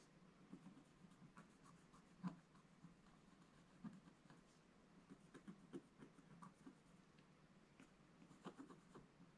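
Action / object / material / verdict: scrape / scratch-art paper page with wooden stylus / coated paper / none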